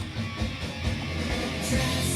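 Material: Nothing is struck.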